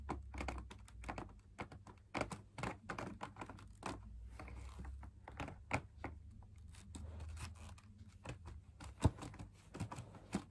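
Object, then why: Fabric-laminated drum lamp shade. Fingertips tap and scratch the inside wall of a hollow, perforated fabric-laminated drum lamp shade. Quick, dry taps and scratches come in rapid, uneven bursts with almost no ring, over a steady low hum.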